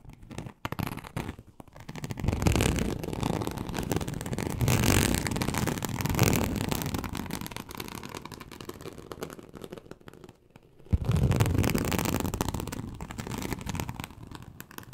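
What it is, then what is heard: Snakeskin-textured leather sheet. Very long acrylic nails on both hands scratch across a large, flat, teal snakeskin-embossed leather sheet (likely faux) lying on a surface. The result is a dense, rapid, rough scratching texture, heavy in the low end, that builds after a couple of seconds, runs steadily, dips into a brief lull, then resumes strongly.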